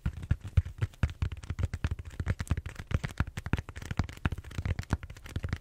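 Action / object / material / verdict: tap / styrofoam bead-foam roller / styrofoam / none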